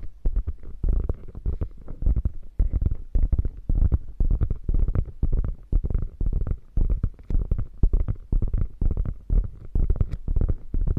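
Long nails tap and scratch rapidly across the quilted, padded flap of a hollow beige quilted faux leather bag. The result is a dense, irregular run of muffled, low, thumpy taps mixed with soft scratchy brushing, each tap dying away almost instantly.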